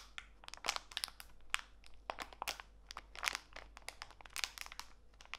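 A small clear plastic bag full of walnut pieces, with a green label, is squeezed and crinkled by fingertips with long white nails while held over a foam mat. The result is a quick run of bright, dry crackles and crinkles that stop short with no ring, over a faint low hum.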